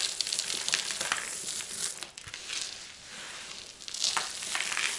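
Both hands with painted fingernails scoop, squeeze and crush small dry, brittle multicolored soap chips from a large loose pile on a white surface, rubbing them between the fingers and letting them fall. The result is a dense, bright crackling and crinkling with almost no low end. It eases to a softer rustle in the middle and swells again toward the end.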